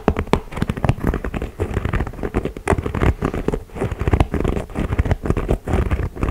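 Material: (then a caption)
Leather, rubber. A white and grey leather Jordan 4 style basketball sneaker is held up while fingers tap quickly along its sole edge and upper. The result is a steady stream of soft, dull, low thuds and light pattering taps that die away almost instantly.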